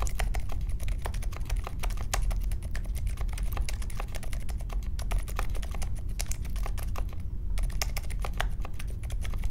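A small 60% Polaris mechanical keyboard with a grey case, white, mint and pink plastic keycaps and silent linear Alpaca switches sits on a marble desk and is typed on steadily with the fingertips of both hands. The rapid keystrokes come as dense, soft, muted taps with a deep low thump, each dying away almost at once.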